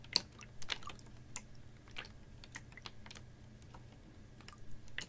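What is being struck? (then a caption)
Ribbed plastic water bottle with water inside. A clear, ribbed PET water bottle, capped and about half full of water, is held horizontally and tapped with fingernails. The result is a series of short, sharp, bright clicking taps at irregular intervals. A faint, steady low hum runs underneath.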